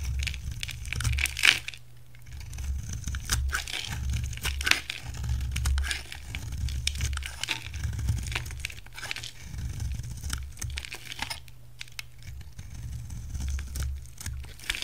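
A solid light blue rectangular bar of soap with a ridged edge, held in one hand, is shaved with a utility knife as powdery blue flakes pile up. Dense, dry, crackly scraping and crumbly tearing sounds with bright edges run throughout, over a steady low hum.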